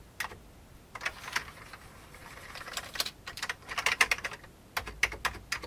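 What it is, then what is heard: Plastic computer keyboard being typed on. Fingertips of both hands type on the keys of a full-size vintage beige plastic computer keyboard. The keystrokes are short, bright clicks with almost no low end, coming in irregular bursts separated by brief pauses. Each click dies away almost instantly.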